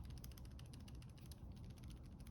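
A Zebra Blen 2+S multi-pen with a plastic body and tip is shaken, and its loose tip gives a rapid, steady run of small ticking rattles over a low background rumble. The rattle is a fault: the multi-pen version has lost the no-rattle feature of the original Blen.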